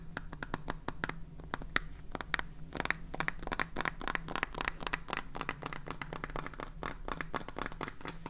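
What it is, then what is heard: Plastic salt container being tapped and scratched. A full clear plastic salt jar with a red cap and blue label is held in the hands and scratched and tapped with fingernails. Rapid, dry clicks and scratchy taps with a bright edge around 1.9 kHz sit over a steady low hum, at a fairly even level throughout.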